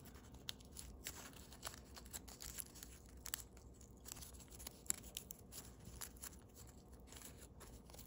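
Thin holographic blue foil origami paper, partly folded into a crane base, is held in both hands and folded and pressed along its creases with fingertips and thumbnails. Soft, steady crinkling runs throughout, broken by many short, sharp crackles and clicks with a bright, high edge. The sound is quiet and close, and each snap dies away almost instantly.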